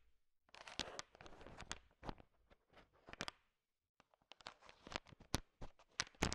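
A thin wooden stick stirs a large pile of small, solid, sugar-shell-coated M&M chocolate candies, which click against each other. Dense, rattling clatter and sharp, bright clicks come in bursts, then a brief near-silent pause, before more scattered, crisp clicks resume. The sound stays quiet overall.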